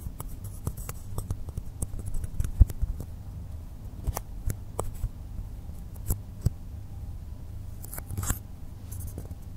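Fingertips tap and scratch the top surface of a long, solid blue polystyrene foam block resting on a table. Short, dry clicks and soft scratching sounds are scattered across the clip, a few of them sharper and brighter than the rest. Underneath them runs a steady, quiet low hum.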